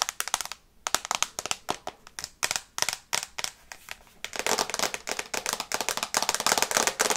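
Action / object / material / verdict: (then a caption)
tap / glass tablet screen in a plastic case / glass / none. Long red nails tap fast on the glass screen of an iPad in a teal plastic case held in the hands. Sharp, bright clicks with almost no low end come in irregular bursts with short pauses, then run into a denser, steadier stream of quick taps in the second half.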